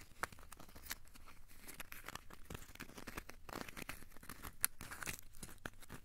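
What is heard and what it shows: A small, solid ball of crumpled aluminium foil, held in both hands, is squeezed and scratched with the fingertips. The result is quiet, dense crinkling and crackling with many short, sharp snaps and a few bright clicks.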